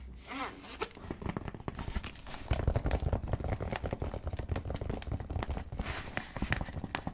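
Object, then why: Faux leather zip pouch. Long nails and fingertips tap and scratch on a medium-sized, hollow, pink embossed faux leather zip pouch. Quick, slightly aggressive, dull hollow taps mix with scratchy rustling and stay mostly low and muffled, with a little brighter scraping on top. The clip starts soft, then grows louder and denser after the first couple of seconds.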